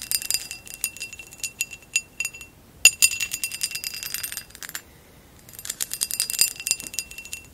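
A hollow amber textured glass vase lying on its side is tapped rapidly with long acrylic nails, producing dense bursts of bright, high clinks with short chiming ringing tones. The tapping pauses briefly near the middle and again before the end, then resumes in quick flurries.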